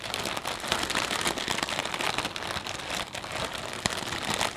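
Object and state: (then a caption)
Plastic bag of potato chips. Both hands grip and squeeze a medium, clear plastic snack bag full of potato chips with the fingertips, crinkling the film and crunching the chips inside. A dense, steady stream of bright, dry crackles with almost no low end is heard, broken by a few sharper crunches.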